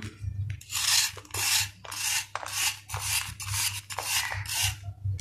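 A steel knife rasps repeatedly across the flat face of a solid sand-cement ball held in the palm, releasing dust. Each stroke is a dry, gritty scrape, mostly bright and high, with a faint low rumble underneath, coming roughly twice per second at an uneven pace with brief pauses between.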